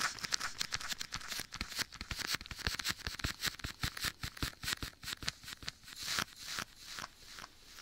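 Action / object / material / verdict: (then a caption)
tap / leather glove worn on a hand / leather / none. Bare fingertips tap and pat a soft, hollow black leather glove worn on one hand, held beside a binaural microphone's ear, with an echo effect applied. A quick, uneven run of short, soft taps carries a bright, crinkly leather texture over low, muffled thumps.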